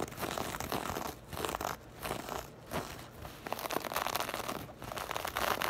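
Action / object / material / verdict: scrape / crocheted fabric bag / knit fabric / none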